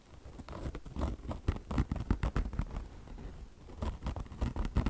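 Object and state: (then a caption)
Mesh and chenille car wash sponge scratched. Long blue-painted nails of both hands scratch a soft, padded beige peanut-shaped car wash sponge with a polyester mesh top over foam and a chenille microfiber fringe. The result is a rapid run of dull, low, muffled scratching bursts with a soft, crinkly texture and almost no ring.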